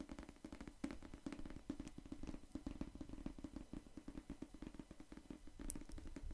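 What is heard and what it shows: Fingertips tap and scratch the cardboard cover of a solid pink paperback novel held beside the microphone. The result is a quiet, rapid patter of soft, dull taps with a low, muffled body. A few brighter clicks stand out near the end.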